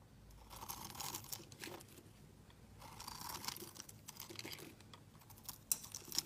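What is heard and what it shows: A metal utility blade scrapes fine curls from a solid translucent red glycerin soap bar held in the hand. The quiet, bright, crunchy shaving strokes swell and fade in a steady rhythm, with a few sharper high clicks near the end.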